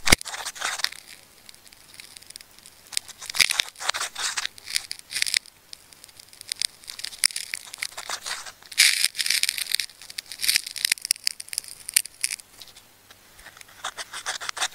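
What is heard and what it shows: A metal craft knife cuts and scratches into a blue and brown striped plastic tape ball with crumpled outer layers while fingertips hold it steady. Bright, crinkly crackles and tearing rasps come in irregular bursts, separated by brief quiet gaps, with almost no low end.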